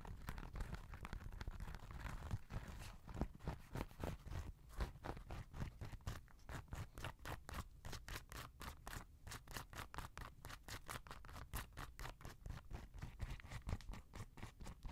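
Fingernails scratch and tap a grey Adidas NMD sneaker held flat, working over its knit upper and rubber sole. Soft, dull scratching gives way to a rapid run of short, quiet taps with almost no ring. The sound is low and muffled throughout.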